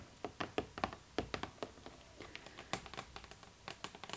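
Long nails tap on the side and top of a pink cardboard Barbie box held up close. Over twenty quick, dry, clicking taps come in uneven bursts, each dying away almost at once with a hollow mid-pitched tone.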